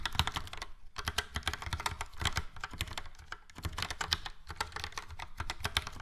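Fingertips type rapidly on a yellow and grey Logitech POP Keys plastic mechanical keyboard with round plastic keycaps and hollow switch housings. Many quick, crisp clacks run together, each with a low hollow thock under a bright click, with brief pauses near the start and the middle.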